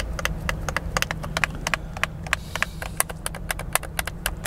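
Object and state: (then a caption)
Plastic game controller buttons clicking. Thumbs quickly press and click the buttons of a hollow, white plastic handheld gamepad held close to the face in both hands. Sharp, bright clicks land in a fast, uneven stream and die away almost instantly. A steady low hum sits underneath throughout.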